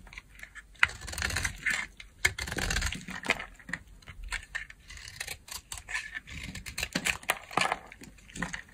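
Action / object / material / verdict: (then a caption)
scrape / bar of soap cut with a blade / soap / none. A solid yellow bar of dry soap, held in the hand, is cut with a utility knife blade, and chunks break off against long nails. Crisp scraping and crumbling are broken by many sharp, bright clicks and snaps. The crackly texture rises and falls throughout the clip.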